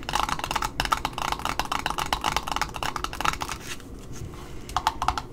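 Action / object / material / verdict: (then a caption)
tap / cardboard ribbon spool with satin ribbon / cardboard / none. A small red spool of satin ribbon with cardboard discs and a paper label is held in the hand while long nails tap rapidly on its top, giving dense, dry clicks with a hollow midrange tone around 1.3 kHz. The tapping softens into a quieter scratching across the paper label, then a few sharper taps return at the end.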